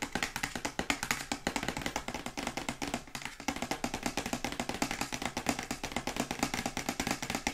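Long white acrylic nails tap rapidly on a glossy printed cardboard Yeti microphone box held sideways. The result is a dense, steady stream of short, crisp clicks with bright edges and a light hollow body, each dying away almost at once.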